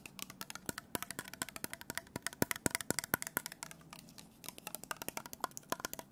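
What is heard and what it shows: Fingertips and nails tap and scratch a small clear glass bottle, partly full of orange liquid, with a printed label and a white plastic cap, held in the hand. Quick, dry, bright clicks come in rapid, uneven bursts over a faint scratchy hiss, with a brief quieter pause near the middle. Each tap dies away almost instantly, with no ringing.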